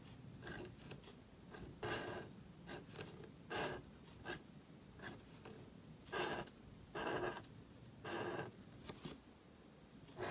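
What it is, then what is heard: Paper card being written on. A gold calligraphy marker nib scrapes across a thin, solid, flat black cardstock card held flat on a table while writing letters. Short, dry scratchy strokes come in bursts, some longer and louder, with a bright rasping hiss over a faint low rumble. Each stroke stops quickly, with brief pauses between letters.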